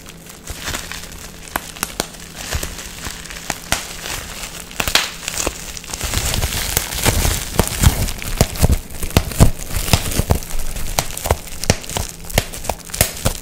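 A clear plastic sheet of air-filled bubble wrap is twisted and squeezed between fingers to pop the bubbles, then stretched flat between both hands. Sparse, sharp pops and soft crinkling fill the first six seconds. The pops then grow denser and louder, with bursts of crackling and crumpling over a faint low hum.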